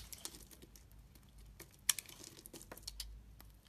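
A utility knife blade carves flakes and slices off a solid green bar of soap held in the hand. The sound is quiet, with short, crisp, bright scraping ticks and crackles over a faint low hum. One sharper, louder snap comes near the middle.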